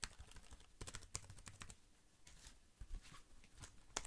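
Fingers tap quickly on the keys and the side of a slim black plastic computer keyboard held upright. The result is a fast, irregular run of short, bright clicks and dull taps with a low thud underneath, each dying away almost instantly.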